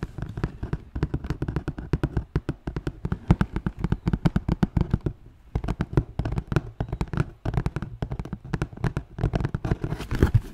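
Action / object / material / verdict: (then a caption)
tap / cardboard shoe box / cardboard / none. A large black shoe box of hollow, rigid cardboard is held in the hands while fingertips tap and scratch its lid. Rapid, dull, low taps mixed with scratching rustle continue in quick bursts, with a brief near-silent pause around the middle before the tapping resumes. Each tap is hollow and very short, with almost no ring.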